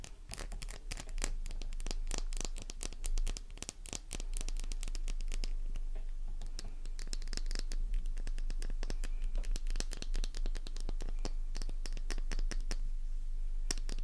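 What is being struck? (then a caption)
Flower-shaped bar of soap. A small, solid, pink, flower-shaped bar of soap rests in the palm while long nails scratch its embossed flower face and begin carving grooves into it. The sound is a fast, uneven run of dry, crisp scratches and scrapes with short, sharp ticks. A low steady hum sits underneath throughout.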